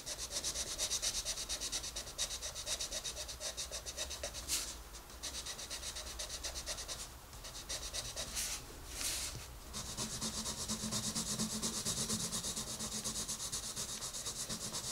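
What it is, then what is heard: Colored pencil shading a paper page. A green wooden colored pencil shades a page of an open paper coloring book while a hand with red nails holds the page. Rapid, bright scratching and rubbing strokes run steadily throughout, with brief pauses near the middle and again just before the last few seconds.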